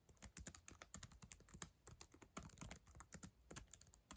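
Long acrylic nails and fingertips type on the plastic chiclet keyboard of a black ThinkPad laptop. A quick, steady run of short, dry clicks and taps, each with a bright edge and a soft low thump, dies away almost instantly.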